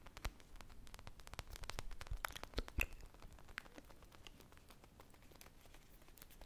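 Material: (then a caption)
Polyurethane foam. Long painted nails and fingertips scratch and squeeze a hand-sized, solid polyurethane foam squishy toy shaped like an ice-cream pop, with a purple glaze, sprinkles and a wooden-look stick, held close to the microphones. The result is a dense run of quick, dry crackling scratches and soft crinkly clicks. It swells to its busiest, loudest stretch around the middle, then settles into quieter, steady scratching.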